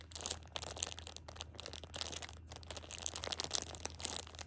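A hand squeezes the edges of a plastic-wrapped six-pack of pocket tissues, crinkling the plastic film. Dense, bright crackles come in irregular bursts with brief pauses over a faint low hum.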